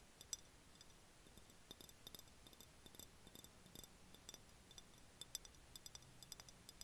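An empty, clear, hollow glass jar is held and tilted in the hands while fingertips and nails tap on its body and threaded rim. The result is a quiet, irregular run of quick, light clicks and ticks, each with a bright, glassy ping that dies away almost at once, over a soft low background hiss.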